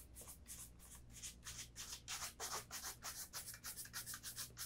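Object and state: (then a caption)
Leather dress shoe being brushed. A brown leather Vass Austerity brogue oxford with a shoe tree inside is held up and brushed vigorously with a bristle shoe brush over the upper and the welt edge. A steady run of about sixteen quick, bright, hissy brushing strokes sweeps back and forth, about three per second, with little low end.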